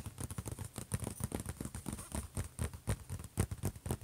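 Fingertips and short nails from both hands tap and scratch the closed silver HP laptop lid. The result is a quick, uneven patter of soft, dull low taps mixed with faint bright scratching, and each tap stops dead with no ring.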